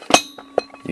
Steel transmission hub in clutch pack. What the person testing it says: i just rattled it down that seating that hub into all the clutches you hear that solid thump it's completely down